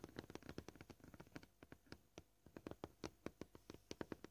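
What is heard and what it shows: Fingernail tips of both hands, short and painted, tap on a flat, scratched white plastic cutting board lying solidly flat. The result is a quiet, uneven series of short, dry clicky taps with a low woody body and a bright tick on top, dying away at once with no ring. The taps come dense and fast at first, thin out and soften in the middle, then return as sharper, louder strikes.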